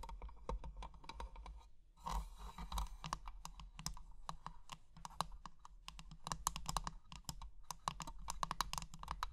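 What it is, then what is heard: Metal and glass jewelry box. Long painted nails tap and scratch a small closed treasure-chest jewelry box with an ornate metal frame and clear glass panels, filled with plastic gems. Rapid, dry, clicking taps with almost no ring sound around a tone near 1.1 kHz, broken early by a brief stretch of bright, grainy scratching. A steady low hum sits underneath throughout.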